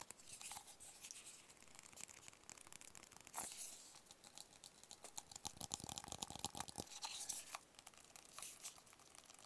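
A small, hollow, rigid white cardboard product box is held in the hands and tapped and scratched with fingertips and nails. Quick, irregular soft taps mix with dry, bright scratching and crinkly rustles, carrying a faint hollow mid tone. The sound stays quiet and close throughout.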